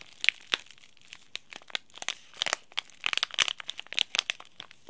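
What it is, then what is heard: Crinkled foil tea bag packet. A small, flat, green laminated plastic-foil tea bag sachet, sealed with the tea bag inside, is crinkled and rubbed between the fingertips of both hands. It makes quick, bright, crisp crackles with almost no low end, clustering more densely in the second half against a quiet background.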